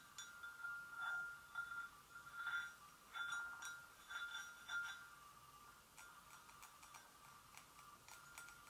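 Long nails gently tap the rim and handle area of an empty, hollow white porcelain gravy boat. This produces bright, ringing taps with a clear tone around 1.4 kHz that fades quickly. The taps come unevenly, then soften into lighter ticks toward the end.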